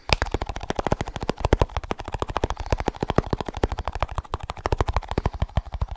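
Fast fingertip tapping on a small snus container produces a rapid, steady run of dozens of crisp, distinct taps over six seconds. Each tap is a short, dry knock with a deep low thump and a light bright click on top. The taps die away almost instantly, with no ringing.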